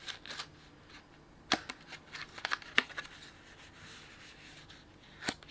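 A medium printed plastic snack bag with a kraft-paper look, filled with sunflower seeds, is held up close and crinkled and rubbed with bare fingertips. Bright, dry crackles come in irregular bursts over soft rustling, with sharp snaps at about 1.5, 2.8 and 5.3 seconds.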